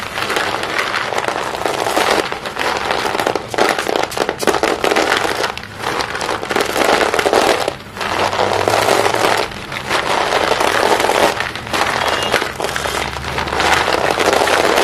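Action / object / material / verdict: scrape / small broken sticks of chalk / chalk / none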